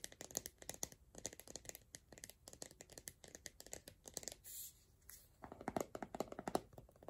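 Long nails rapidly tap and scratch the sides of an empty, hollow pink plastic Soap & Glory 300 ml body cream tub with a lid. The sound is quiet, dry, clicky tapping with bright edges and a hollow plastic tone around 730 Hz, broken by a brief smooth scratch midway. A short lull follows, then a final run of louder, hollower taps.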